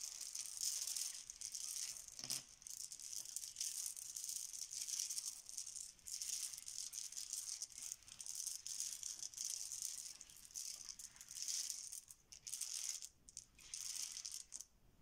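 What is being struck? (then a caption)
Small plastic letter tiles on a stone countertop. A pile of small, solid, cream plastic Bananagrams letter tiles on a marble countertop is stirred and swept with the fingertips of both hands. The result is a steady, bright rattling clatter of tile against tile and against the stone, with brief dips and pauses between strokes and almost no low end.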